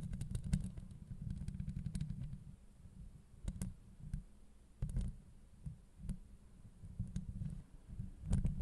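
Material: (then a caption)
Steel mesh. Long acrylic nails of both hands scratch and tap a hollow steel mesh microphone grille. The sound is a deep, muffled rumbling scrape, broken by sharp, bright clicks from the taps. It swells and fades in uneven bursts throughout.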